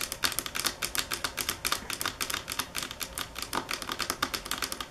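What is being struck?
Marble table top.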